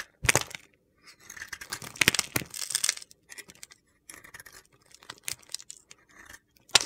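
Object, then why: Glitter-coated soap bar cut with a metal blade. A solid black glitter bar soap, a glitter-coated white soap bar, is shaved and chipped with a metal utility knife blade held in hand. Bright, gritty crunching and scraping come in short bursts, broken by a few sharp cracks as chips snap off. Each scrape ends dry and quickly, with no ring.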